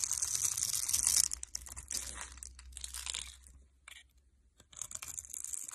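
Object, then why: Bar of soap cut with a metal knife. A metal knife cuts and scrapes a hand-held, solid light blue soap bar scored in a grid, shaving off small soap cubes that crumble away. Dense, bright, crisp scraping and crumbly crunching fill the first second, then give way to softer, irregular scrapes and brief near-silent pauses before a final burst of crisp cutting.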